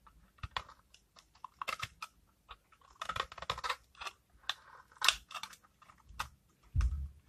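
A utility knife blade scrapes shavings from a dried, rancid bar of hardened cream soap, now thinned down, held in the hands throughout. It makes an irregular series of short, dry, bright scraping crackles, with a heavier low thump near the end.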